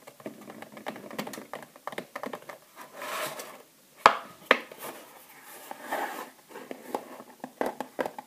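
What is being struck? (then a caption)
Clear plastic gift box holding bath bombs. Long nails tap the lid of a small clear plastic gift box with a cardboard sleeve, which holds three bath bombs, as the box rests on the table and is lifted above it. The result is quick, irregular clicky taps with a few soft rustling scrapes between them, and two sharper, louder knocks stand out near the middle.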